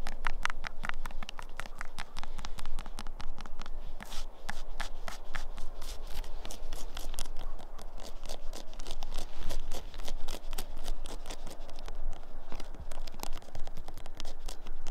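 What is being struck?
Weathered wooden tree stump.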